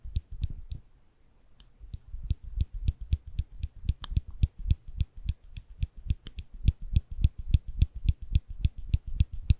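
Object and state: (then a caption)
Metal nail clipper clicking. A small folded stainless steel nail clipper, held between the fingers above the microphones, has its lever pressed repeatedly, giving about 34 sharp metal clicks. A few clicks come first, then a brief pause, then a steady run at about four clicks per second. Each click is dry and short with a low thump and a bright, snappy top.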